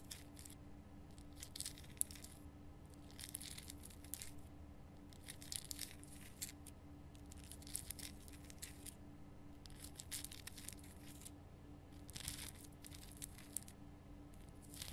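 Long painted nails scratch the rough surface of a large, solid, lit pink rock-salt Himalayan salt lamp. Soft bursts of bright, dry scratching and rasping come and go over a steady low hum. The strokes stop short with no ring.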